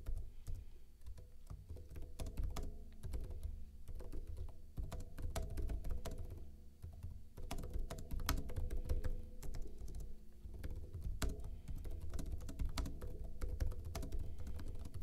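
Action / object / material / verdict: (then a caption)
tap / plastic laptop keyboard / plastic / none. Fingertips with short blue-painted nails type rapid taps on a backlit plastic laptop keyboard with hollow keycaps. The quick, dry clicks run steadily throughout over a strong low, humming background.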